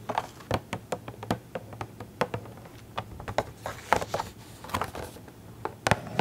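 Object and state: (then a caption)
Cardboard toy box tapped with nails. Long acrylic nails tap and scratch the sides and corners of a small printed cardboard Funko Pop box with a clear plastic window and the figure inside, held in both hands. A quick, uneven run of sharp, dry clicks is heard, with soft scratchy rustles between them. The taps die away almost instantly over a faint low hum.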